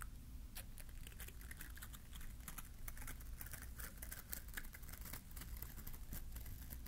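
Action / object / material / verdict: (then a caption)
scrape / plastic bristle bottle-brush tree / plastic / none. A small green bottle-brush Christmas tree with glittery plastic bristles, held in one hand, is scratched with a fingertip and nail. Rapid, crisp scratching and bright ticking clicks run continuously over a steady low hum.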